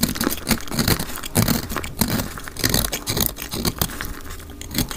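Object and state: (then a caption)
Dry soap bar being scraped. A solid pink-orange dry soap bar with yellow specks, held in the hand, is scraped and cut with a utility knife blade, sped up to double speed. Rapid, irregular dry scraping and crunchy cutting strokes follow one another, each a short bright, gritty rasp over a low rumble. Steady crumbling bursts run throughout with no pause.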